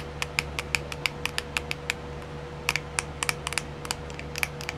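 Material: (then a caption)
Plastic. A small round clear plastic compartment wheel case filled with colored rhinestones is tapped and scratched on its lid with long silver-painted nails. Around twenty quick, sharp, bright clicks sound in uneven bursts, each dying almost at once. A low steady hum and a faint mid tone run underneath.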